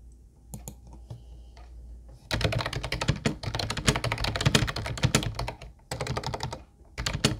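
A small teal Ubotie plastic keyboard with hollow, round white plastic keys is typed on continuously with fingertips. A few scattered clicks over low hum in the first two seconds give way to dense, rapid clacking that pauses briefly twice before resuming. Each keystroke is short and hollow, with a low thock and a bright click.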